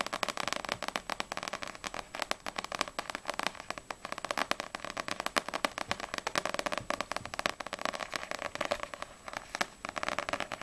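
Long nails tap quickly on the glossy front cover of a small, solid paperback manga, Ousama Game volume 5, with a dark glossy paper cover, held upright. The result is a dense, steady run of rapid, dry, crisp clicks, bright and papery with almost no low end. Each tap stops instantly with no ringing.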